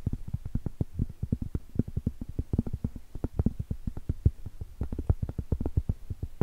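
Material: Cork.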